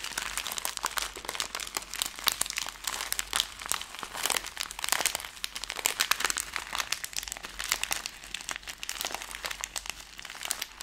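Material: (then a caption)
Plastic film. A plastic-film Skittles candy bag is crumpled, then opened and flexed up close, giving a steady run of sharp, dense crinkles and crackles. The sound is bright and papery, with almost no low end and each crackle snapping off instantly.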